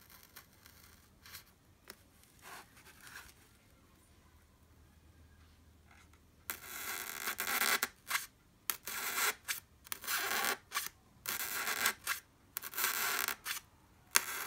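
The sharp graphite tip of a blue wooden pencil pokes into the edge of a white solid styrofoam block. After about six seconds of near silence with faint light ticks, a run of loud, bright, squeaky scratching bursts starts, some short and some drawn out, with brief quiet gaps between them.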